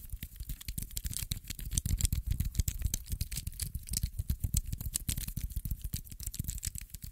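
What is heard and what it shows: A small metal infinity cube made of solid blocks on hinges is folded open and shut by fingers over and over. It makes rapid, uneven clicks and rattles with short, dull knocks, heavy in the low end with bright ticks above and no ring.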